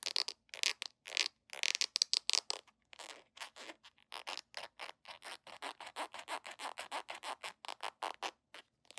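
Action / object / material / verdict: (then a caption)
scrape / small plastic squeeze tube / plastic / none. A small, hollow red plastic squeeze tube is gripped in both hands and scratched and rubbed with long nails and fingertips. It produces a rapid run of short, bright, scratchy rasps with almost no low end. The strokes start in dense clusters and settle into a quicker, steady rhythm of brief scrapes.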